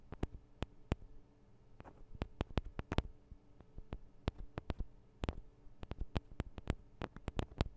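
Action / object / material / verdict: tap / small metal microphone capsules / metal / none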